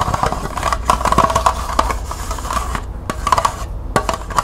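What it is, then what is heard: Plastic cup, scratched. Long nails scratch and rub along the ridged side of a small, hollow, empty green plastic cup held in the hands. It makes a rapid, uneven series of short, dry clicks and raspy scrapes with a faint hollow ring around 1 kHz. A low rumble sits steadily underneath.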